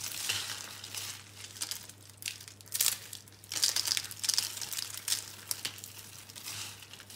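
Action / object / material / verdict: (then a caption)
scrape / rolled soap curls / soap / none. Fingers press, break and crush green and pink rolled curls of dry, solid, brittle soap into a growing pile of crumbs. Dry, bright crackling and crumbling snaps come in irregular bursts over a steady low hum.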